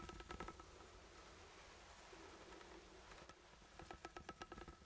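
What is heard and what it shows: A sealed, ribbed steel food can is held close to the mic and scratched and tapped with the fingertips. Quick runs of light metallic taps at the start and end ring with a tinny tone near 1.3 kHz. Between them is a softer, steady scratching rustle over the ribs.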